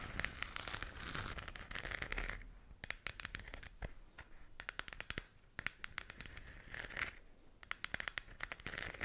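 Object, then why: Hollow plastic globe lamp. Fingernails scratch the textured shell of a hollow plastic galaxy moon lamp held in both hands. It makes a dense, crinkly rasp centred in the midrange, punctuated by many sharp, bright clicks. The scratching comes in bursts with quieter stretches of scattered ticks between them.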